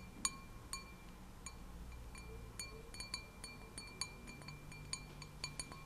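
A glass object is tapped repeatedly, giving about fifteen short, bright clinks that ring briefly at high pitch. The quiet taps come at uneven intervals over a low, steady background hum.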